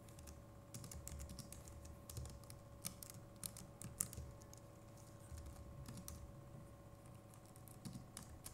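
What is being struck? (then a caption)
Plastic computer keyboard keys. Fingertips of both hands type steadily on a compact Logitech MX Keys Mini keyboard with plastic keycaps, producing quick, soft, bright clicks with no ring. A few keystrokes stand out sharper and louder, all over a faint, steady low hum.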